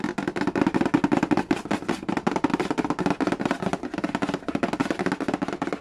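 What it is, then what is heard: Cardboard board game box. Fingertips rapidly tap and scratch the glossy red lid of a hollow cardboard Yahtzee game box resting on a wooden floor. The result is a dense, quick run of dry, hollow taps with a low-mid body around 285 Hz, each dying away almost instantly, with light scratchy texture between them.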